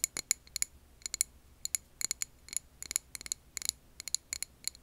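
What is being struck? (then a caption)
Glass jar filled with wax. Long nails tap on a clear glass jar filled with green wax candle, making a quick, irregular string of sharp, bright clicks. Each tap is a dry, high glassy tick with almost no ring or low end, over a faint low hum.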